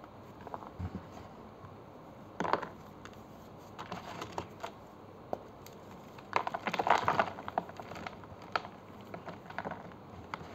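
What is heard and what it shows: Fingertips break pieces off solid bluish-grey gym chalk bars in a green plastic tray, then squeeze and crumble them into chalk powder. Quiet, irregular dry snaps and crunchy crackles sit over a faint steady hiss, with denser crushing bursts early on and a louder crumbling flurry about two-thirds of the way through.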